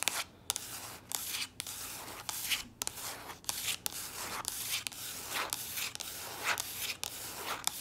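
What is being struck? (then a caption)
Soft plastic lotion tube. Long nails scratch and rub across the surface of a soft plastic body lotion tube that appears full. The sound is a bright, hissy scratching with repeated sharp, short clicks and almost no low end.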